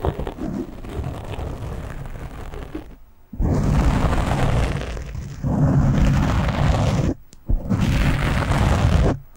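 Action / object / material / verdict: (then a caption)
scrape / foam microphone windscreen / foam / none. Hands grip a black foam windscreen on a microphone while fingernails scratch across its top, producing dense, rumbling, heavily bass-weighted scratching and crackling. The scratching comes in several sustained bursts, separated by brief near-silent pauses around three and seven seconds, with the later bursts louder than the first.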